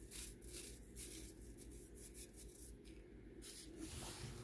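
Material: Baking soda.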